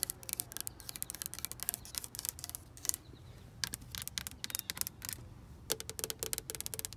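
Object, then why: Painted wooden deck railing. Long pink acrylic nails tap and scratch the flat top board of a solid, white-painted outdoor wooden deck railing with visible grain and cracks. Quick, bright, dry clicks come in irregular bursts with softer scratchy strokes between them, each tap dying instantly. A low, steady rumble sits underneath throughout.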